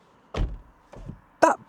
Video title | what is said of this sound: Nobody needs more car than this | when you close the door, it actually makes a good noise, which is not normal in like convertible, small, lightweight cars like this. That sounds solid.